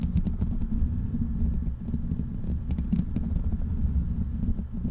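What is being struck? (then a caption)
Metal mesh microphone grille. Fingertips of both hands scratch and tap the hollow black metal mesh grille of a large desktop microphone. The result is a steady, dense rumble of low, muffled thumps and rustling with scattered faint bright ticks.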